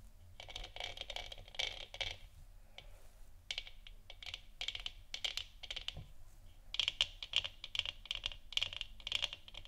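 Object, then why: Hollow plastic lamp sphere. Long nails of both hands scratch and tap over the textured surface of a hollow, lit plastic moon lamp sphere resting on a wooden stand. The result is bursts of quick, bright, crackly clicks and scratches with a hollow plastic ring, separated by short quiet pauses.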